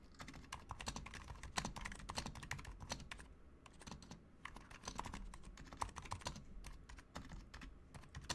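A Razer Huntsman Mini compact 60% mechanical keyboard with a white plastic case, white plastic keycaps, lubed silent switches and RGB backlight is typed on continuously with the fingertips of both hands. Dense, quick, muted key clicks and soft thocks run throughout with a low body and short, dry decay, in irregular bursts and brief pauses.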